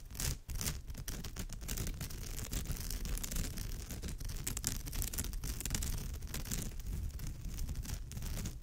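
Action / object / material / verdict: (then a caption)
scrape / woven straw bag / straw / none. Long nails of both hands scratch rapidly across the woven fibre of a straw or raffia purse, giving a steady, dense rustling scrape that carries through the whole clip. The sound is mostly low and thick, with bright crackly streaks from the fibres, and the short strokes run together rather than sounding as separate hits.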